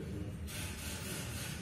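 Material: Nothing is struck.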